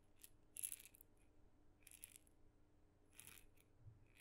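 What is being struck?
Small painted wooden maraca with loose filling.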